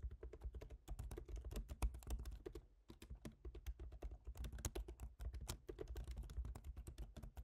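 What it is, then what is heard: Laptop keyboard typing. Fingertips of both hands type steadily on a silver MacBook Pro's aluminium laptop keyboard with black plastic keys. The result is a quiet, continuous stream of short, dull taps with a thumpy low end and little brightness, with a brief pause before the typing resumes.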